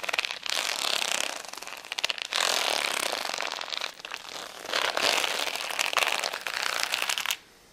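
Fingertips and nails scratch and tap the plastic gems of a flat rhinestone sticker sheet lying on a towel, making bright, dry crackling and clicking with almost no low end. The sound comes in three dense bursts of rapid scratching and tapping, separated by brief quieter dips, before cutting off abruptly into near silence.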